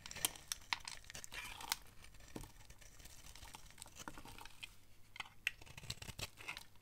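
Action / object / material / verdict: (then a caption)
scrape / bar of soap scraped with a blade / soap / none. A utility knife blade carves and scrapes a solid, hand-sized bar of dry orange soap held in the hand, curling shavings off. The sound is a quiet, dry, crinkly scratching with bright, crisp ticks and sharp little snaps scattered through it. Each cut stops almost instantly with no ring.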